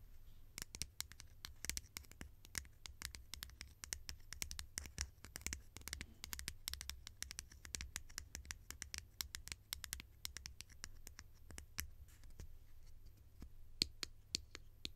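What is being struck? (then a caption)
Conical plastic lid. A hollow, conical green plastic lid is tapped and scratched with long nails, making a fast, irregular stream of sharp, dry clicks and rough scratching. The taps are bright and die away almost instantly, over a steady low hum.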